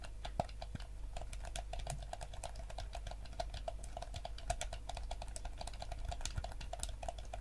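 Fingertips tap and click the buttons of a yellow hollow plastic gamepad. A rapid, steady stream of short, dry plastic clicks carries a hollow tonal knock around 700 Hz with bright edges, over a constant low hum.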